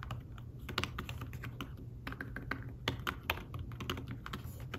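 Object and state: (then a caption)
Fabric-covered tablet keyboard typing. Fingertips with short nails type on a thin, flat iPad Smart Keyboard-style folio keyboard with dark woven fabric-covered keys. The keys give a quick run of soft, short, muffled taps with brief bright clicks and almost no ring, over a steady low hum.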